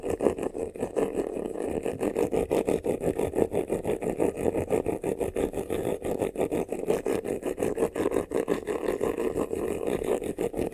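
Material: Faux leather.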